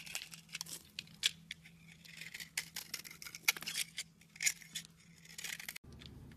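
A utility knife blade scrapes grooves into the surface of a solid pink soap bar held in hand, making quiet, bright, crisp scratching and shaving sounds in quick irregular strokes with a few sharper clicks. A faint low hum runs underneath and cuts out near the end, leaving a duller, noisier background.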